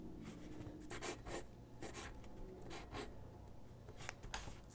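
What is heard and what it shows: A graphite pencil sketches on a single white sheet of drawing paper resting on a wooden desk. It makes quick, bright, scratchy strokes in short bursts over a low, steady background rumble.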